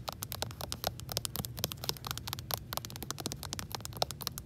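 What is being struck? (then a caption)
Hardcover book with plastic protective cover. Long acrylic nails rapidly tap and scratch along the top edge and spine of a solid, medium-sized Hunter S. Thompson hardcover, held up near a shelf, with an orange dust jacket under a plastic library protector. Dense, bright clicks and crinkly plastic scrapes patter over a low rumble, each tap dying away almost instantly.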